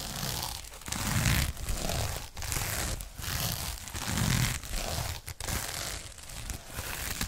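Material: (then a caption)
Sequins. A flat rectangular pouch covered in rainbow and silver flip sequins is held in both hands and laid flat while fingertips and nails scratch and brush across the sequins. The result is a steady, crinkly, crunching rasp that swells and fades in repeated strokes, with a low rumble under bright, high scratchy texture.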